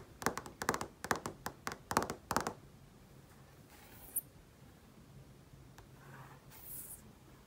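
Long painted nails and fingertips tap rapidly on a large flat-panel TV screen, giving a quick run of bright, clicky taps in clusters over the first two and a half seconds. Quieter soft rubbing and faint swishes follow on the screen, broken by a single sharp click near the four-second mark.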